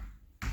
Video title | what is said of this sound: What's REALLY Going on with CHEAP Houses and House Buying Companies? | any of these tiles that are breaking loose. It sounds solid.